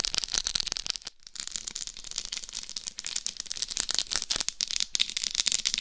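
Long nails scratch and tap the rhinestone-covered surface of the face and head of a life-size binaural dummy head microphone, whose rhinestones sit over a hard shell. A steady stream of bright, crackly scratches and sharp little clicks fills the clip, with a brief gap about a second in, and nothing rings on after each touch.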